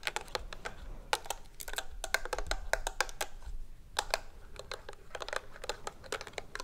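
A medium white and red hollow plastic lotion bottle with a green flip cap, held in both hands, is tapped rapidly with long acrylic nails. The result is a steady run of sharp, bright clicks with a hollow plastic tone and almost no ring, over a faint low background hum.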